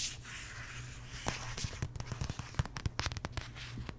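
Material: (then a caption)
Cardstock. Long nails tap and scratch the cardstock cover and spine of a large glossy paperback art book. A soft, bright scratching hiss gives way to a run of sharp, dry taps that die out almost at once, over a steady low hum.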